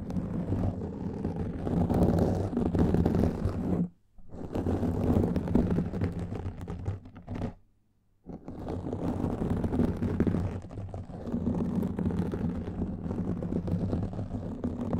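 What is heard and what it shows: Fingertips and nails of both hands scratch a black foam microphone windscreen, producing a dense, rumbling, scratchy rustle weighted toward the low end. The scratching runs almost continuously, breaking off briefly just before the 4-second mark and again around 7.5 to 8 seconds before resuming.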